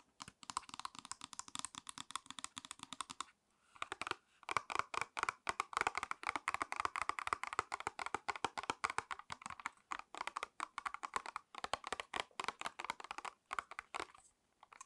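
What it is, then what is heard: False eyelash package of plastic and cardboard. Long red nails tap rapidly on a small, hollow false eyelash package made of a clear plastic blister on a cardboard backing. Quick, dry, bright clicks, centred around 1.2 kHz, come in dense bursts for the full fifteen seconds, pausing briefly near the 3.5 and 4 second marks. Each tap cuts off almost instantly with no ring.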